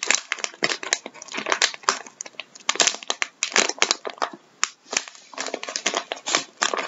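Bare fingertips and nails squeeze and crinkle a flexible plastic resealable bag of vinyl gloves, partly full and held upright. The result is a dense, bright, steady crackle of rustling and crinkling bursts with no low end.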